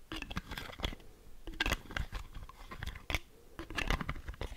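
Long manicured fingernails tap and scratch the cap and body of a medium-sized, partly full, clear plastic argan oil cosmetic bottle with a wooden-look brown cap. The result is a quick, uneven run of short, dry clicks with almost no ring, mixed with bright scratchy rasps over a soft low thump.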